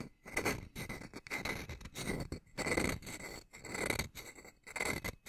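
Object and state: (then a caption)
Metal tube wind chime being scraped. A small hanging wind chime with hollow metal tubes under a wooden top bar is held up by its string while a wooden striker piece is rubbed and scraped along the tubes. This makes a continuous run of squeaky, rasping scrapes with a bright metallic ring near 2 kHz that swells and fades in short bursts.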